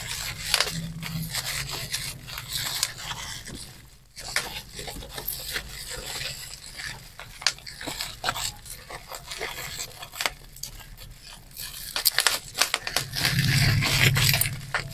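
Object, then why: Plastic bubble wrap. A twisted strip of clear plastic bubble wrap has its individual air bubbles pinched and popped between thumb and fingers. Sharp, bright pops come irregularly over a steady crinkling and rubbing of the plastic, with a brief quiet gap near the four-second mark. A low hum rises under the crackle near the start and again at the end.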